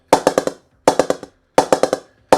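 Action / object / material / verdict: tap / English willow cricket bat blade struck with a ball / willow wood / responsive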